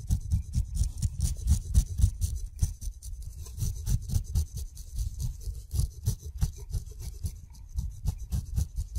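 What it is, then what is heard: Kiwi fruit skin being scraped. A steel razor blade scrapes the fuzz off the skin of a whole kiwi fruit, sending the hairs flying. Short, rapid scraping strokes repeat at about four per second, each a soft low rub topped with a faint bright hiss.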